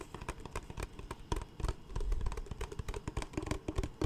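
A large, clear, empty PET Smartwater bottle with a label is tapped and scratched with fingertips. The result is a rapid, uneven run of soft, hollow, low thumps with brief scratchy clicks, each dying away almost at once.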